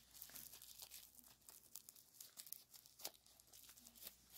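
A small folded piece of clear plastic bubble wrap with green filling, held in latex-gloved hands, is squeezed, crinkled and popped by the fingertips before being set down on a towel. The sound is a dense run of bright, dry crackles and sharp pops with almost no low end. Each burst cuts off almost instantly, with the loudest pops near the middle and later in the clip.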